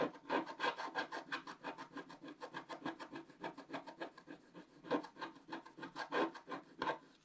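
A wooden stylus held in the right hand scratches the black coating off a wax-coated scratch-art paper page in a book on a table, working around a lantern motif. Rapid, repeated dry rasping strokes come in an uneven rhythm, each a short scratchy burst centered in the low mids with some brighter hiss, with a few louder strokes standing out.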